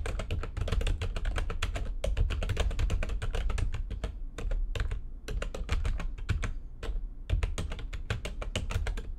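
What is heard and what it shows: Fast typing with long nails and fingertips on a full-size plastic backlit computer keyboard with white backlighting and a hollow housing. It produces a dense, rapid stream of short clacky clicks with a hollow low thud beneath bright tapping transients, broken by a few brief pauses.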